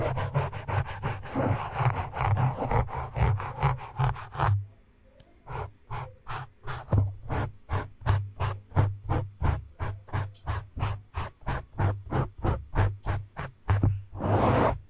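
Fingertips and short nails of both hands scratch a soft, porous black foam windscreen on a microphone, making rapid, rhythmic brushy strokes with a deep, boomy low thud of around 100 Hz in each pass. After a dense flurry, the scratching pauses briefly near the five-second mark, then resumes as steady, evenly spaced swipes of about three per second, ending in a longer, louder rub.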